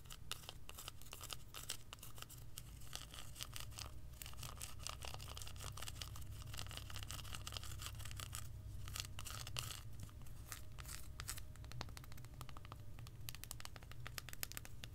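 Long acrylic nails scratch and tap rapidly across the flat underside of a solid, handheld hazelnut chocolate bar studded with whole hazelnuts. Quick, irregular, crisp clicks and scratchy rasps ride over a steady low rumble throughout.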